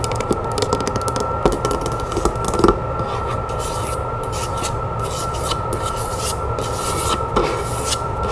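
Long nails tap and scratch the lid of a dark, rough, hollow wooden heart-shaped box, small to medium in size, resting on a table. Quick light taps come early on, then a steady dry scratching rasp continues across the lid.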